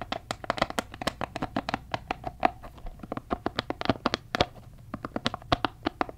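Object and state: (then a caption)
Rubber spiky massage ball. Fingertips tap, rub and squeeze the spikes of a palm-sized red soft rubber spiky massage ball, likely hollow, close to the microphone. About three dozen quick, dry ticks and scratchy rustles come in an irregular stream, each dying out almost at once, with a faint recurring tone near 730 Hz.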